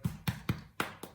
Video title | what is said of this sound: How to make a foolproof loaf of white bread and sesame crusted rolls | it's got a nice crust on it